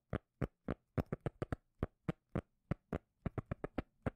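Fingers tap on a cork lid, producing twenty short, dull, bass-heavy thuds with almost no ring. The taps come at an uneven pace, sometimes in quick clusters of two or three and sometimes spaced apart.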